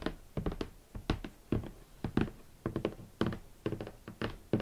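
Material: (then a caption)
Cardboard. A large, hollow, rigid red cardboard shoe box is knocked and tapped with fingertips and long nails. Quick clusters of short, dull, hollow thunks and taps come in a loose rhythm, mostly low and midrange with a faint bright click at each touch, and each one dies away almost at once.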